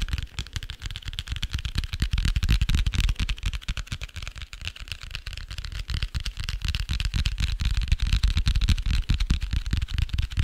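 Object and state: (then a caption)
Hardcover notebook cover. A dark grey hardcover notebook with a cardboard cover is held in both hands while fingertips and nails tap and scratch its cover and edges. The result is a dense, uneven stream of quick, dry taps with a soft, low thump and brief scratchy hiss, each sound dying away almost instantly.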